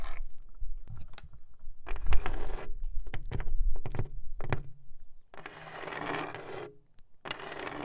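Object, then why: Wooden wall panel. A nail worn on a finger taps and scratches a wooden wall, giving short dry taps mixed with longer raspy scraping bursts. The sound is irregular, with quiet gaps between strokes.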